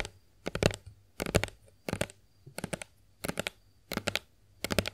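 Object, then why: Plastic lotion bottle. Long acrylic nails tap a hollow plastic Johnson's body lotion bottle held in both hands. Seven quick bursts of rapid, dry clicking taps, each cluster short with a bright, crisp edge and a hollow low thud beneath, separated by near-silent pauses. The taps die away almost instantly.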